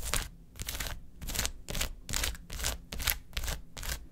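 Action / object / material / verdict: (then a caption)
tap / plastic gel-filled ice pack / plastic / none. Long acrylic nails tap and scratch quickly across a large, flat blue plastic gel ice pack with quilted gel-filled cells, in a fast typing-like rhythm. The sound comes in about eight brisk bursts of bright, crisp clicking and scraping over a soft, low rumble.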